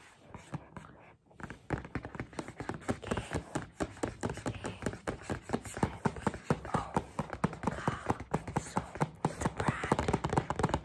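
Two people tap fast on the flat face of a medium, hollow white KAZO gift shopping bag made of rigid paper/cardstock with black trim and rope handles, held upright, using long painted fingernails and fingertips. After a quiet, rustling start, a rapid, uneven stream of short, dry taps sets in, mixing dull hollow thumps with sharper nail clicks that die away almost instantly.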